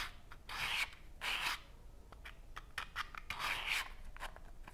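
Fingers rub and slide the drawer of a small cardboard matchbox, which is open and full of green-tipped wooden matches. Bright, scratchy rasping swishes come in longer bursts, separated by quieter patches of short dry ticks and rustles.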